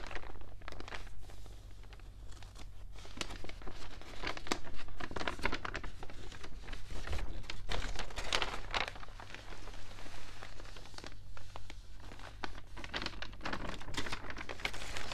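Fingertips with painted nails rub and turn the pages of a large open broadsheet newspaper made of thin, wavy, water-damaged paper lying flat on a dark table. Dense, irregular crinkles and dry rustling bursts run throughout the clip, some rising to bright crackles. A steady low hum sits underneath.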